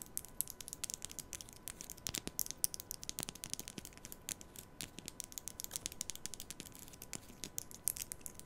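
A black plastic comb is held diagonally near the mic while long nails strum its teeth rapidly. The result is a quiet, dense stream of sharp, bright clicks and crinkly ticks with almost no ring. A faint steady hum sits underneath.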